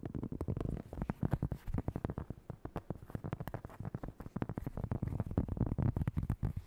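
A flat, solid, thin round cork board about 25 cm across is tapped and scratched quickly with long acrylic nails and fingertips. Dozens of short, dry, dull taps run together in a fast, uneven stream, mostly low and thuddy with brief scratchy clicks and almost no ring.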